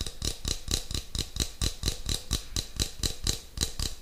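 Fingertips and nails rapidly tap and scratch the shiny metal lid and side of a small cylindrical metal tin with a purple label, held in one hand near the microphone. Each tap gives a low, dull thump with a bright metallic click that dies away almost at once. The taps come in a quick, fairly even rhythm.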